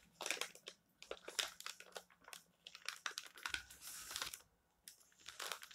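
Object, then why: Glossy paper magazine pages. Fingertips rub, smooth and lift the thin glossy pages of a printed paper magazine lying open on a stack of magazines on a table, turning them. Bright, crisp rustling and crinkling come in quick bursts separated by brief near-silent pauses, with a longer sustained swish near the end.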